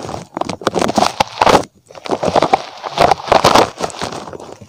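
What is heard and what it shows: A small, soft and squishy red spiky rubber puffer toy shaped like a rabbit is held in one hand and scratched and squeezed with fingertips close to the microphone. Dense bursts of crackly, rubbery scratching and squishing come in uneven clusters, with a short near-silent gap partway through. The sound is dry and close with no ringing after each touch.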